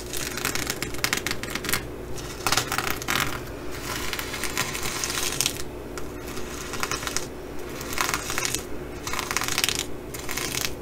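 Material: Plastic sequins.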